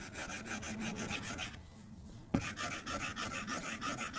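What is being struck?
Plastic stylus on glass tablet screen.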